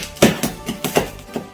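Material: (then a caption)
Pork skin. Deep-fried or air-fried pork belly is handled, giving a series of short, crisp crackling snaps with quiet pauses between them. The sound shows the skin is crispy and the belly is perfectly fried.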